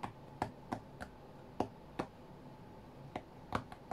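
Fingertips and nails tap the glass touchscreen of an iPad tablet lying flat on a cutting mat, striking in quick bursts. Ten short, dry, irregularly spaced taps are heard with a soft mid-range click and almost no ring, over a quiet background.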